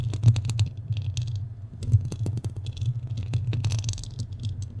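Fingernails scratch and tap the sides of a black studio microphone's metal mesh grille. A heavy, boomy low hum around 100 Hz dominates, broken by irregular dull taps and short bright, scratchy bursts that die away almost instantly.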